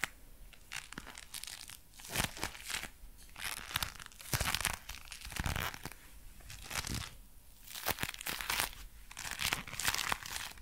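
Dark brown leather gloves worn on both hands are flexed at the fingers and rubbed together, making the leather creak and crinkle. Dense, bright crackling bursts swell and fade in waves, with sharp snaps over a soft, rustling bed throughout.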